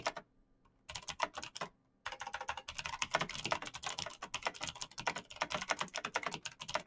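Fingertips in fingerless knit gloves type fast on a black plastic mechanical gaming keyboard with clicky green switches, backlit keys and a hollow case. The bright, sharp clicks come in quick bursts, with a short pause near the start and a longer one around the two-second mark, then continuous rapid typing to the end.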